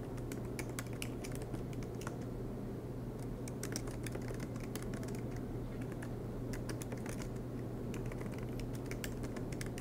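Fingertips tap steadily on the black plastic keys of an aluminum MacBook Pro laptop keyboard, producing a run of quick, bright clicks. A constant low hum sits underneath the typing throughout.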